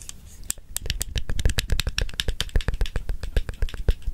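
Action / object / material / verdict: shake / small plastic and metal stapler / plastic, metal / none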